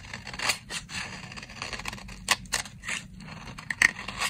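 A solid, dry brown soap bar held in the hand is scraped with a box-cutter blade, shaving it into fine shavings. Quick, dry, bright scraping strokes rasp one after another, with a few sharper, louder scrapes standing out. There is almost no low end and no ring after each stroke.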